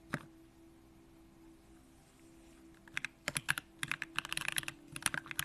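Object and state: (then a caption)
Mechanical keyboard typing. A compact Bakeneko65 mechanical keyboard with an aluminum case, Durock lavender switches and pink plastic keycaps is typed on with the fingertips of both hands. A single bright click is followed by nearly three seconds of quiet over a faint steady low tone. Then a rapid run of crisp, high clacking keystrokes begins and continues to the end.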